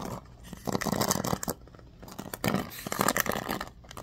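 Fingers and nails scratch and flick the pin bristles of a bamboo paddle hairbrush with a black cushion. Two dense bursts of dry, crackly scratching rustle across a broad range up to a bright top, separated by quieter, softer scraping.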